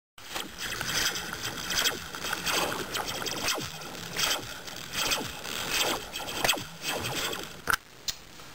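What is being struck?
Metal slinky spring.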